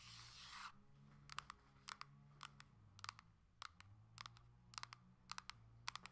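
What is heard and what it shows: A coral Nintendo Switch Lite plastic handheld game console is held on its edge while long nails tap and click on its plastic shell and edges. A brief burst of broad hiss opens the clip, then sharp, dry clicks follow in quick pairs and small clusters over a low background hum.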